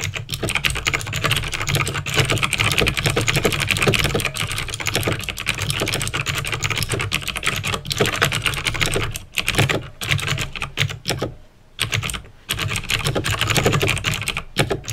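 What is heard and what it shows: Fingertips type rapidly on a backlit plastic mechanical keyboard with clicky green switches. The result is a dense, continuous stream of sharp, bright clicks over a steady low hum. The typing pauses briefly near the end before resuming.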